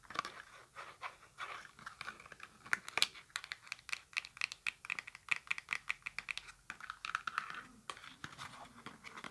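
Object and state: Cardboard box.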